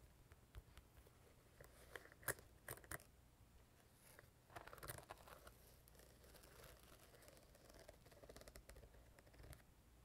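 Long painted nails tap and scratch the shiny top of a small, hollow, purple quilted patent-vinyl zippered carrying case held in the hand. Quiet, crisp ticks and dry scratching sounds ring briefly, with a few sharper, brighter clicks standing out. A low, steady hum sits underneath throughout.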